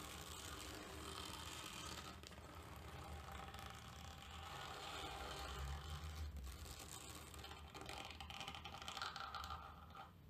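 A tortoiseshell plastic comb, held tilted, is raked through the pile of a grey terry towel lying on a table in short scratching strokes. The result is a steady, dense, scratchy rasp with a bright hiss over a low rumble, rising and falling slightly with the strokes.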